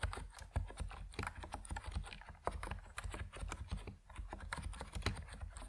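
Fingertips of both hands type quickly on an Epomaker NiZ Plum Atom 68, a 68-key compact mechanical keyboard with white and purple PBT plastic keycaps, resting on a wooden desk. A steady stream of short, dry keystrokes is heard, each a soft low thock with a brief bright click that dies away almost instantly.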